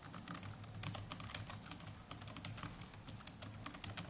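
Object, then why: Plastic laptop keyboard. Fingertips of both hands type continuously on the plastic chiclet keys of a small black netbook keyboard. Quick, soft clicks with bright, sharp tops tap in a steady, uneven stream over a faint low hum, each click dying away almost instantly.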